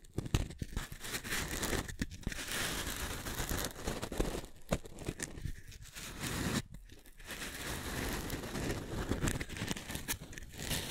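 A pair of identical small, solid, pale pink foam cylinders, one held near each microphone, is scratched and squeezed with long manicured nails and fingertips. The result is a dense, continuous scratchy crackling and crinkling texture with a soft low rumble and bright hiss, broken by a few brief quiet gaps.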